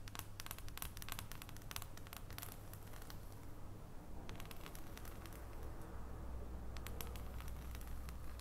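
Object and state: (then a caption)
Dark chocolate bar. Long nails tap on the surface of an unwrapped solid dark chocolate bar held in the hands over its foil. Quiet, irregular bursts of short, bright clicks cluster in the first three seconds, return briefly around the middle and again near the end. A steady low hum runs underneath throughout.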